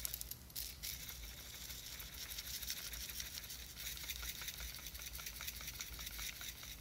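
A small clear plastic jar with a white lid, filled with glitter, is held in one hand and shaken and tilted. The glitter makes a soft, continuous bright rattle and patter, with a quiet low hum underneath.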